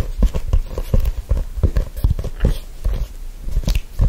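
A black faux-leather hardcover notebook is held close and gripped and rubbed with fingertips. The result is a steady run of dull, low thumps and soft scuffing with a muffled, bass-heavy texture and almost no bright content. Each sound stops quickly with no ring.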